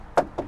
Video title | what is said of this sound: 1965 Ford Mustang - Review Series - [4K] - Maroon Nugget | Trunk doesn't rattle when you hit it. You can shake it, there's no rattling.